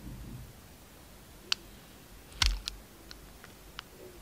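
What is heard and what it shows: A utility knife peels strips off a solid, palm-sized, red embossed Camay soap bar held in hand, exposing its pink interior. Against a quiet low background, about five sharp, bright clicking cuts sound, and the one near the middle carries a brief low thump.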